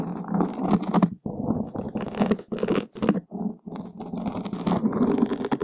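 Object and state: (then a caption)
Foam windscreen being scratched. Two long wooden skewers scratch a black open-cell foam microphone windscreen from both sides. The result is a dense, muffled, rough scratching and crackling, centred in the low-mids, that comes in uneven bursts with a few brief near-silent gaps.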